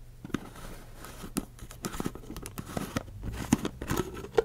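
A hollow, empty clear ridged plastic cup with a curly straw, held sideways, has its blue plastic lid and body tapped and scratched with long acrylic nails. Sharp, dry clicks with almost no ring fall at irregular intervals over soft, crinkly scratching at a low, close level.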